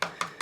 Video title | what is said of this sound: DIY SHOWER MISTAKES....sort of | it sounds Hollow because it's foam board